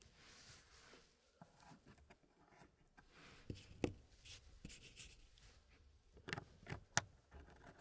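Fingertips in fingerless gloves press and slide many small solid wooden pieces inside the hardwood frame of a small square wooden packing tray puzzle with a light wood base. Soft rubbing and scraping are broken by a few short, sharp wooden clicks.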